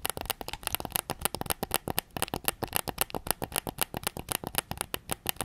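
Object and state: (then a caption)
Plastic game controller. Fingertips tap rapidly on the grip and back shell of a white PS5 controller, a hollow plastic game controller. The taps are short, dry clicks with a bright, hollow plastic tone and almost no ring, in a quick, uneven rhythm.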